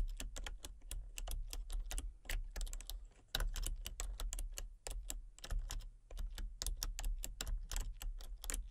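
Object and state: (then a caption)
Plastic computer keyboard being typed on. Fingertips and long painted nails type rapidly on a full-size backlit plastic RGB computer keyboard with hollow key switches and colour-cycling lights. Quick, bright, hollow clicking taps run in a steady stream over a constant low hum, easing briefly just before the typing picks up again.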